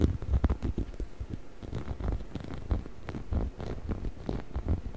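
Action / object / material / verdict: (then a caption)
scrape / rubber chicken toy / rubber / none. A hollow yellow rubber chicken toy is held in both hands beside the microphone while fingertips scratch and rub its textured rubber skin. A dense run of soft, quick scratching and rubbing strokes follows, mostly low and muffled with a little brighter hiss on top.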